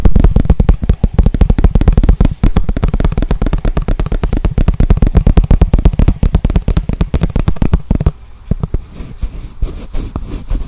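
Fingertips and nails rapidly tap and scratch a small, clear, hollow plastic container or cup, apparently empty, held in the hands. The result is a dense run of dull, low, hollow thumps for about eight seconds. The taps then turn quieter and sparser over a soft, brushing scratch.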